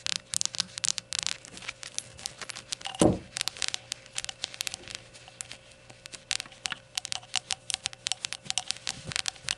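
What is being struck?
Small glazed ceramic shot glass.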